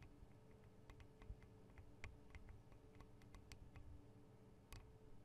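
Long acrylic nails tap on the metal guard wings and microphone capsules of a Tascam DR-40 recorder. A quiet, steady low hum sits under a quick, irregular run of short, sharp ticks and clicks that stop almost at once, with a few brighter taps standing out.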